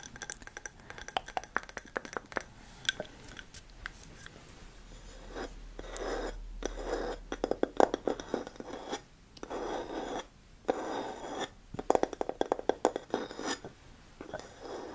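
A medium grey-green glass candle jar filled with wax, closed with a flat light wooden lid, is held in one hand while long manicured nails scratch and tap the top of the wooden lid. Dry scratching and quick, clicky taps come in dense bursts with short pauses between them, each tap dying away almost instantly.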